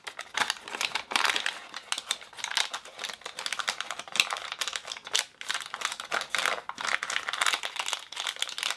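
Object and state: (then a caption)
Plastic film toy packet. Both hands flex and crinkle a small, unopened Ooshie blind-bag toy packet made of plastic film, while fingernails tap against it. The result is a continuous, bright, crackly crinkling with dense short dry clicks and almost no low end.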